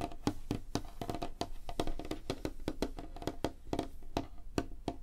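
Fingernails and fingertips of both hands tap rapidly on a large, flat, solid light-wood tabletop. The result is a quick, uneven stream of short, dry clicks and knocks with a woody tone around 290 Hz, each dying away almost instantly over a low background hum.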